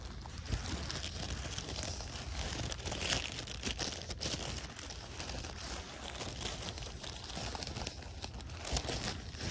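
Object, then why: Thin plastic gift bag. An empty, hand-sized, thin printed plastic valentine gift bag with a frog design is held and crinkled, rubbed and handled with fingers. It gives a steady, dense crackle of crinkling across the whole clip, with bright rustle on top and a heavy low rumble underneath, and a few sharper crunches stand out.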